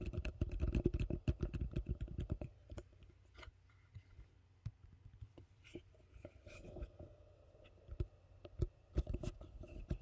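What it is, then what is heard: Plastic bowl tapped with fingernails. Long fingernails tap and scratch the base of a large, hollow, empty yellow plastic bowl held upside down. A dense burst of quick, dull taps over the first couple of seconds gives way to sparser clicks and soft scratching. Each tap is short and muted with almost no ring.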